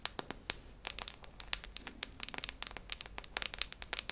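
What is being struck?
Metal tin canister with plastic lid.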